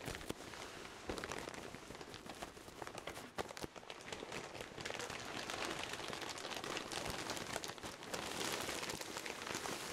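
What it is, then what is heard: Pillow in a plastic bag. A pillow in its clear plastic bag is hugged and squeezed while palms and fingertips rub against the wrapping. The result is a dense, continuous crinkling with bright, rustling texture and frequent small crackles. It grows slightly louder and busier in the second half.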